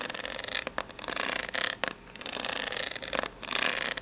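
Long pink-polished natural nails scratch and tap the ribs of an upright, ribbed corrugated cardboard box that is probably empty and hollow. The result is a bright, dry, rasping scrape in uneven bursts, broken by short pauses and quick crisp taps, with almost no low end.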